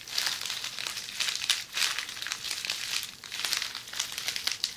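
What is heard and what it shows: A roll of red plastic bubble wrap held in the hands is scratched by the tips of long polished fingernails. The result is a steady, bright crinkling and scratching texture with quick crackly bursts and almost no low end.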